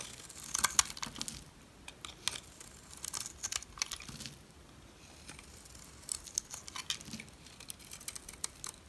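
A metal blade scrapes a solid, dry, white rectangular soap bar with an embossed logo. Bursts of crisp, bright scratching and crackling come in uneven clusters with brief quiet gaps. Each short click stops at once, with no ring.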